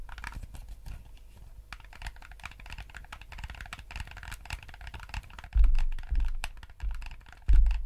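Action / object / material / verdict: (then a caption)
tap / plastic game controller / plastic / none. Fingertips click the buttons and D-pad of a yellow hollow plastic gamepad and scratch its shell, making a steady run of quick, dry, brittle taps with a bright, papery edge. Two heavier, low, rumbling bumps break in near the end.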